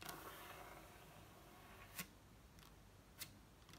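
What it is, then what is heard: Wooden table top. Long acrylic nails on both hands tap fast on a large, solid wooden table top with visible wood grain. Sparse, sharp clicky taps with bright highs stand out over a quiet, steady low background, each dying away almost instantly.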